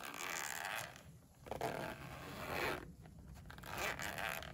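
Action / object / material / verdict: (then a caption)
scrape / polyester fabric pencil case with zipper / polyester / none. A pink padded polyester pencil case, closed and resting on a windowsill, is held flat with one hand while fingers slide the zipper pull along its edge. The result is a series of bright, scraping zipper runs separated by brief quieter pauses.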